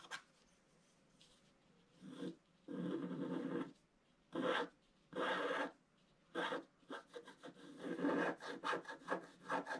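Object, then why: Scratch art paper sheet with wooden stylus. A wooden stylus scratches the figure's body into a flat scratch art paper sheet with a black coating. It makes dry, raspy scratching strokes, some long and sustained, others short, that quicken into a run of rapid strokes near the end. A faint steady tone hums beneath the quiet gaps.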